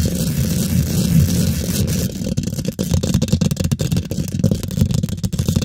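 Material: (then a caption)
Steel mesh. Long pointed pink acrylic nails scratch and tap rapidly over a hollow steel mesh microphone head. The first two seconds are a dense, continuous, low rumbling scrape. It then breaks into a fast run of sharp, muffled taps and scratches with a deep, boomy body and little high end.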